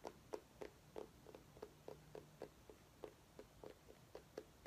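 A small orange mini pumpkin, held by its base, is tapped and scratched with long nails. About fifteen quick, dull, hollow taps come in an uneven rhythm, each with a low-mid tone near 430 Hz that dies away almost instantly. Faint scratching fills the quiet stretches between them.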